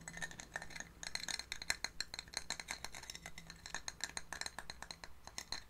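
A medium pinkish ribbed scallop shell, thin and hollow, is held in cupped hands and tapped and scratched with long painted nails. A rapid, uneven stream of bright, dry clicks and scratchy rasps sounds, each dying almost instantly with no ring. A faint low hum runs steadily underneath.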